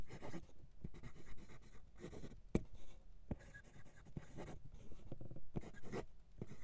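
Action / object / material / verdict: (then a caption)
scrape / steel fountain pen nib on lined writing paper / paper / none. A steel fountain pen nib writes cursive in green ink on a flat sheet of white lined writing paper. The nib makes soft, continuous scratching strokes across the paper, with short pauses and a few sharper ticks between words.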